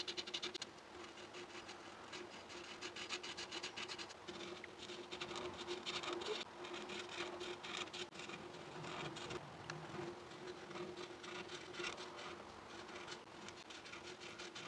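A felt-tip marker, held in fingers with long nails, is rubbed back and forth over a flat sheet of white paper printed with a cup outline in scribbling, coloring strokes. The result is a continuous dry, scratchy rubbing with a bright hiss, a brief louder scrape at the start, and a faint steady low hum underneath throughout.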